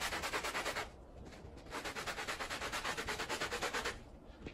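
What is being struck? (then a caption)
Woven pile rug scrubbed with a plastic bristle brush. A small handheld blue plastic bristle brush scrubs a wet, foamy, small Persian-style woven pile rug lying flat, while the other hand rests on the rug. Rapid, rhythmic back-and-forth strokes make a bright, hissy scrubbing sound in two bursts, with a brief quieter pause between them and a softer tail at the end.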